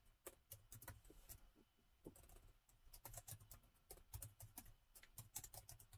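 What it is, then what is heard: Laptop keyboard with plastic keys. Both hands type with the fingertips on the black plastic keys of a gold metal-look laptop with a hollow body. A quick, uneven run of light clicks comes through, each crisp and bright over a soft low thud, dying away almost at once.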